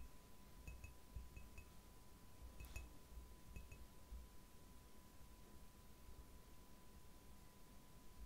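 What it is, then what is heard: Ceramic mug tapped with fingernails. Long nails tap the outer wall of a white ceramic "Relax-Tasse" mug, hollow and apparently empty, held in one hand. Scattered groups of short, bright clinks ring for only a moment each. Underneath is a steady low rumble and a faint constant 1 kHz tone.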